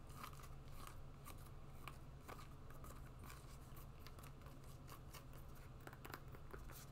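Long nails scratch the sole and straps of a black and green rubber and webbing sport sandal. A quiet, steady low hum runs underneath, while short, dry scratching bursts with bright, crackly edges repeat throughout at an even, soft level.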